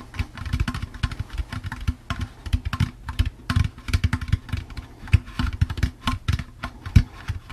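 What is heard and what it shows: Fingertips tap quickly and steadily on the outer wall of a hollow, empty orange plastic jack-o'-lantern candy bucket. The result is a rapid run of soft, dull, low plastic thumps with a slight hollow body, each dying away almost at once.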